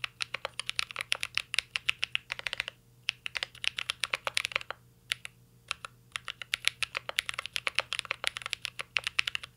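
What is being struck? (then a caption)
Mechanical keyboard with plastic keycaps and metal case. Fingertips type continuously on a mint-green Cyberboard R3 mechanical keyboard with plastic keycaps and an aluminum case. It makes a rapid stream of sharp, bright, clacky keystrokes with very short decay. The typing breaks off in two brief pauses before resuming at a steady pace.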